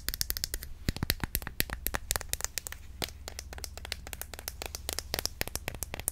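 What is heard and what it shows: A medium-size white plastic Cantu curl activator bottle filled with cream is held in the hand and tapped rapidly with long nails. The result is a fast run of sharp, dry clicks with almost no ring, over a steady low hum.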